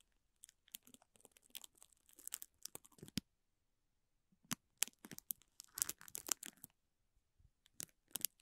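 A spoolie brush scratches and brushes across the clear plastic film wrapped around a small green toy. Quiet, bright crinkling and scratchy rustles come in quick bursts, with a silent gap of about a second near the middle before the brushing resumes.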